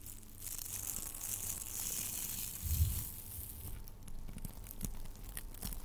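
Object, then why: Metallic plastic tinsel garland. Strands of blue, sparkly tinsel garland made of metallic plastic are held in both hands and squeezed and rubbed with the fingertips close to the microphone, possibly brushing its grille. A dense, bright crinkling and rustling fills the first half over a low, muffled rumble, swelling into a heavier crunch near the three-second mark. It then continues as sharper, scattered crackles.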